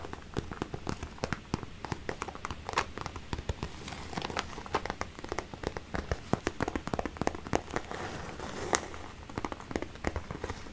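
A small, boxy, hollow pink glitter vinyl zippered pencil case is tapped and scratched with fingertips and painted nails. Many quick, dry clicks and taps sound over a soft, continuous scratchy rustle, each stopping almost instantly.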